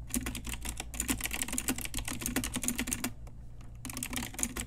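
Continuous typing with fingertips and long nails on an Ajazz pink typewriter-style retro mechanical keyboard with round plastic keycaps produces rapid, bright, short clicky keystrokes over a steady low hum. The typing pauses briefly just after the three-second mark, then resumes.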